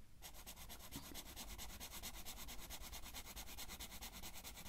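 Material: Paper.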